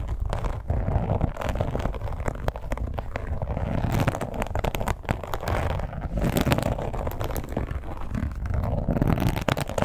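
Long nails scratch and tap along the edges of a red, glossy, croc-embossed leather wallet with a strap. The result is a steady stream of close, dry scratching and quick taps, with a thick, low-heavy body and very little bright top end. There is no speech.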